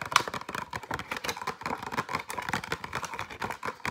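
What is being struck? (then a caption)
Plastic blister pack with cardboard backing. Fingernails tap and scratch very fast on a flat, light retail pack of six pencils, a clear plastic blister with cardboard backing. The result is a dense stream of sharp, dry plastic clicks and scrapes centred around 1.1 kHz with a bright edge. The sound has almost no low end and no ring between strokes.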